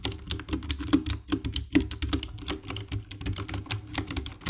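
Both hands type with their fingertips on the keycaps of a compact 60% black plastic mechanical keyboard with RGB backlight. A steady run of quick, tapping key presses gives bright, crisp clicks over a low thock. Each press dies away almost instantly.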